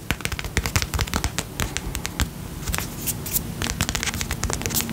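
Fingertips tap quickly on the side, base and lid of a small round pink and purple plastic tub filled with slime. The result is a rapid, irregular run of short, dry clicks with a low, dull thud underneath and bright, crisp edges, each dying away almost instantly.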